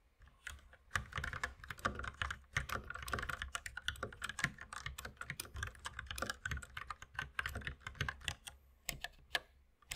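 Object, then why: Plastic mechanical keyboard. Both hands type continuously on a compact white mechanical keyboard with plastic keycaps and red accent keys, which sits on a wooden desk beside an unused mouse. Fast, dense clacks overlap in a steady stream, each short and sharp with a bright top and a low thock underneath.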